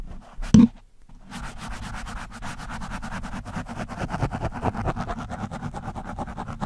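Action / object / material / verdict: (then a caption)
scrape / foam microphone windscreen / foam / none. The thin steel shaft of a screwdriver scratches and pokes a soft, porous orange foam windscreen on a microphone. A sharp poke thumps early, then after a brief silence comes a steady run of rapid, raspy scratching strokes with a heavy low, muffled body. The scratching grows slightly louder toward the end.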